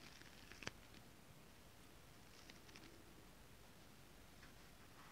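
Long nails tap a flat holographic foil mermaid scale-pattern fabric with a few sharp, bright clicks near the start. Fingertips and palms then rub across it in a quiet, steady, soft hiss with faint scratchy ticks.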